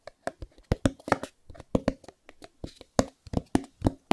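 Fingertips tap and scratch the corners and sides of a small white cardboard Chromecast box held close up, producing about fifteen quick, dry taps. Each tap has a dull low-mid thump around 250 Hz that dies away almost instantly, with soft papery scratching between them.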